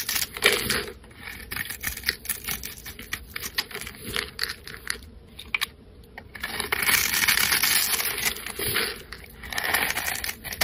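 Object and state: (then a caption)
Bar of soap being carved. A flat metal blade scrapes the scored surface of a solid pale yellow soap bar held in the hand, shaving it off into small cubes. Dense, bright, crackly scraping and crumbling sounds come in quick irregular strokes, go briefly quiet midway, then return as a longer, steadier scrape.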